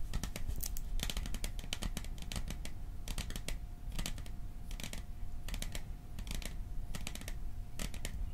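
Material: Metal.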